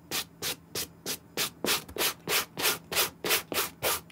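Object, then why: Suede sneaker brushed with a suede brush. A white suede brush scrubs the side and heel of a dry, green, hand-held Nike SB Air suede sneaker in rapid strokes. About fifteen short, bright, hissing rubs repeat at a steady pace, with almost no low end.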